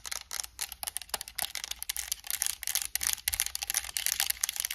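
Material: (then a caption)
Plastic. Long acrylic nails tap and click rapidly across the buttons and plastic shell of a white and black PS5 controller with purple thumbstick caps. The sound is a dense run of crisp, dry, high-pitched clicks and taps that die away almost instantly, with almost no low end.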